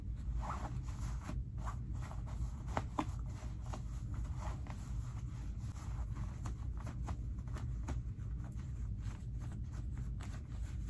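The pocket linings of light-wash cotton denim skinny jeans are pulled out, then pushed back in with fingertips. Soft fabric rustles and brief scraping strokes come in a steady stream over a constant low rumble.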